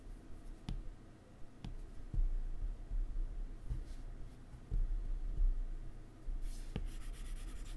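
A hard plastic stylus draws an ellipse and fills it in on the solid glass screen of a large, flat iPad held in the other hand. Quiet rubbing strokes are broken by short, sharp taps on the glass, with the sound sitting mostly in a low, soft rumble and brief bright ticks. Each tap dies away almost at once.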